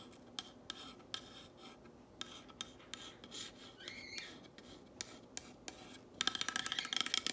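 Long nails trace, tap and scratch across the surface of a black painted wooden box sign with white text. Sharp, bright taps land irregularly over a soft scraping hiss, with a brief squeaky tonal scratch in the middle. A quick, dense flurry of tapping closes the clip.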